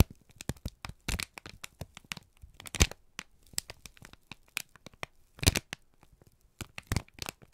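A wrinkled brown kraft paper strip, already crumpled, is squeezed and crinkled in both hands. It gives a rapid, uneven string of sharp, dry crackles and crunches with bright, wide-band snaps, and a few louder pops stand out. Each crackle stops almost at once, with quiet gaps between the bursts.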